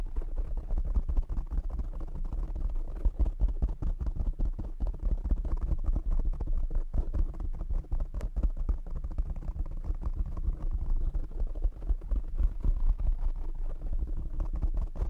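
Fingertips tap quickly on the top and sides of a black foam windscreen covering a desk microphone. The result is a dense, steady stream of soft, muffled thumps, almost entirely deep bass centered around 74 Hz with no bright high end, and each tap dies away instantly.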